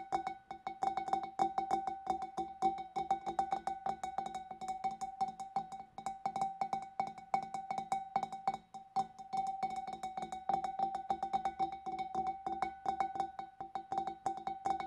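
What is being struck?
Glass fish bowl.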